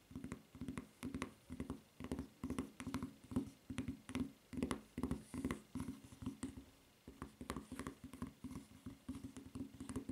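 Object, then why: Rubber flip-flop footbed. Long nails tap and scratch the footbed of a white rubber flip-flop with a red print and strap. The result is a steady run of soft, low, rubbery taps and scrapes, repeated quickly and unevenly, with faint bright clicks on top and only brief pauses.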